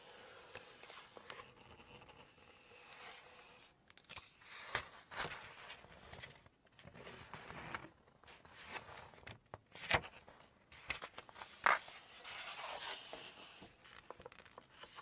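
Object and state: Glossy paper cookbook pages.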